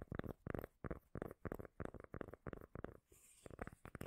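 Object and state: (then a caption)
Cork lid. A small, solid, round cork lid is held close to the mic and tapped and scratched with long nails. Quick, bass-heavy scratchy taps come in a steady string of separate bursts, with a brief softer, brighter scraping hiss near the end before the taps return.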